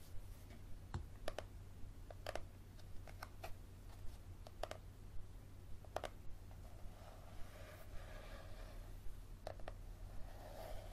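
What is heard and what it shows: Fingernails tap and scratch the card cover of a yellow paperback book, which is first held upright and then tilted. Quiet, sharp, dry clicks come at an uneven pace over a steady low hum, and a softer scratching rasp fills in toward the end.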